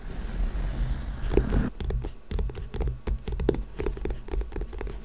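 A small, solid old book with a printed orange paper-and-card cover lies in front of the microphone and is scratched and tapped with the fingertips and nails of both hands. A soft, continuous scratching rustle gives way to a quick run of dry, muffled taps and short scrapes. The sound is close, low and dull, with no ring after each hit.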